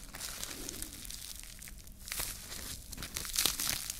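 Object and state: Plastic cling film being crumpled.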